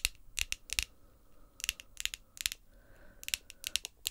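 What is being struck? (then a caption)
Long acrylic fingernails. Long, glossy pink acrylic nails tap and click against each other, nail on nail. The result is sharp, bright clicks in quick, uneven clusters with almost no ring, separated by quiet gaps.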